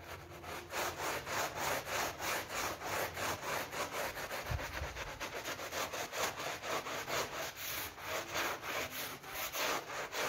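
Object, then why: PVC coil door mat scrubbed with a brush. A brush held in a green rubber glove scrubs a soapy pink PVC loop vinyl coil door mat. Rapid, steady back-and-forth strokes make a bright, raspy swishing sound, with one brief low thump partway through.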